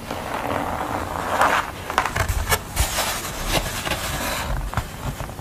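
Long nails scratch and tap across the textured stippled paint of a flat painting of a person with an orange band, done on thin board or paper. A steady, crisp, papery scratching runs throughout, broken by sharp, bright taps and louder scrapes.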